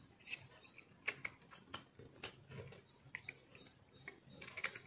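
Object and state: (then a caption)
Dry crumbly soap bar being scraped. A metal knife blade scrapes and cuts through a dry, crumbly, yellow-green speckled multicolor soap bar held in the palm. The result is a quiet run of bright, crisp crunches and short, sharp crackles over a soft, steady scraping hiss.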